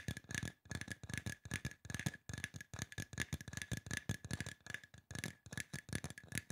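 Fingertips and nails tap fast along the side of a hollow, silver aluminum spray bottle. The result is a dense, uneven patter of short, dull knocks with a low hollow body, bright clicky edges from the nails, and a faint steady metallic ring underneath.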